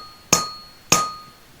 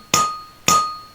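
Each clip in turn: First: metal ball with internal damping layer, dull and non-ringing. Second: Undamped metal ball that rings.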